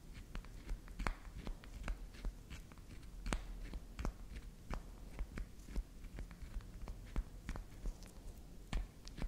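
Long acrylic nails tap and scratch a solid chunk of soft pink candy soap held upright between both hands, with soap crumbs on the table. Quick, dull clicks with almost no ring land in a steady string over a soft, low scratching hiss.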